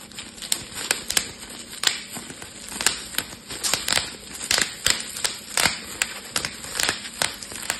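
Fingertips pinch the edge of a clear, air-filled plastic bubble wrap sheet, popping the bubbles one by one. Sharp, bright snaps ring out in a steady, uneven series over a soft crinkling of plastic, each pop dying away almost instantly.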